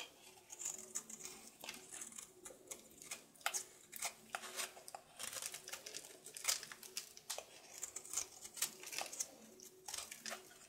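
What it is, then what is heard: Soap bar being carved. A solid blue soap bar held in the palm is scraped and carved with a red patterned knife. Quiet, bright, crisp scraping and crumbly shaving strokes come in quick irregular bursts over a faint low background hum.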